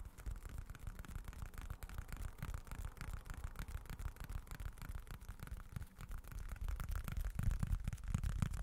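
A small, dark, folded leather wallet with a textured leather-look surface is held in both hands close to the microphone and scratched and tapped with short fingertips. The result is a steady, irregular stream of soft, dull, low thumps layered with faint scratchy rustling, growing slightly louder and heavier toward the end.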